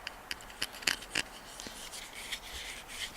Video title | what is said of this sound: Benchmade 551 Griptilian, Get a Grip! -🇺🇸- | it sounds like plastic it doesn't sound like a higher quality knife